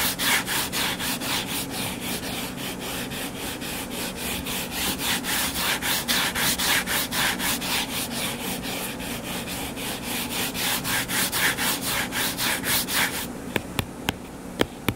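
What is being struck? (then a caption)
Closed hardcover book. Fingertips and nails scratch the cover of a closed, solid hardcover book lying flat on a table, making steady, bright, rasping strokes at a quick, even rhythm of several per second. Near the end the scratching drops to a quieter hiss, broken by a few sharp, short taps.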